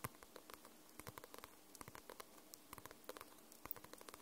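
Long nails tap and scratch the glossy paper cover of a paperback book. The result is a quiet, irregular patter of short, dry clicks with bright edges over a faint hiss, and each tap dies away almost instantly.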